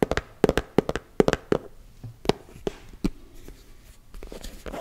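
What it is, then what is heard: Plastic cosmetic tub. Fingertips and nails tap quickly on the printed lid of a closed, round, hand-sized body-butter tub, likely plastic. About fourteen short, dry, hollow knocks with a pitched tone near 414 Hz land in uneven clusters, each dying away almost at once. The taps give way to softer, fainter tapping and scratchy rustles toward the end.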